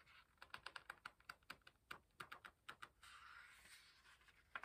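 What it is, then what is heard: Paper book pages being flicked. Fingertips hold a paper page of an open hardcover book upright and flick its edge, giving a rapid series of crisp, dry ticks with a bright papery edge. They then rub along the edge in a softer, steady swish before one last sharp flick.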